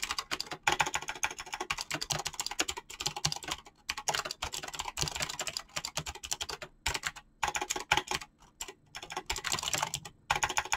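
Fast typing with fingertips and short painted nails on a mechanical keyboard with PBT plastic keycaps, hands staying on the keys. Dense, bright, clicky keystrokes come in rapid bursts broken by brief pauses, each tap short and sharp with little low end.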